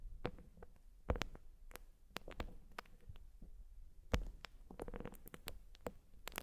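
A white urethane foam sponge is scratched with long nails, giving a quiet, low, muffled rustle broken by short, sharp, bright scratchy clicks at irregular moments. The scratches stop quickly with almost no ring, and a few land noticeably louder than the rest.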